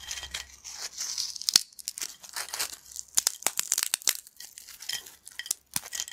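Thin, flat, crispy yellow corn chips spread on a black plate are snapped and crushed between fingertips. Dense, bright crackling and crunching fills the clip, with many short, sharp snaps standing out over a continuous crinkly hiss and almost nothing in the low range.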